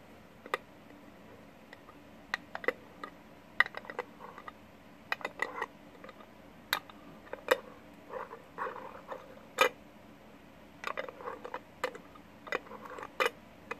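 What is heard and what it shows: A gold metal screw lid on a small cherry jar is held flat in both hands while fingertips and short nails tap and scratch its flat top. Sharp, bright metallic ticks with a faint ring come at irregular intervals, mixed with soft scratchy rustling passages over a quiet background.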